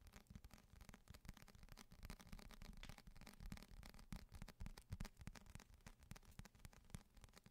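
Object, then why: Paperback book with glossy paper cover. A thick paperback novel, *Renegades*, with a glossy paper cover is held in both hands and tapped and scratched on the cover with fingertips and short nails. The result is a dense, irregular stream of quick, dry, low-pitched taps that stop at once, mixed with soft scratching.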